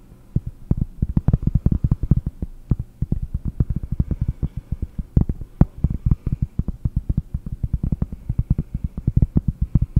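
Fingertips and nails tap rapidly on the face of a round, flat cork board held close to the microphone. The result is a steady stream of dozens of dull, low, soft thuds with almost no ring, set over a faint low hum.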